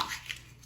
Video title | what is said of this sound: Oyster Shucking Basics: Different Knives & Techniques. | That's how you know if you have a bad oyster. First, tapping it sounds hollow.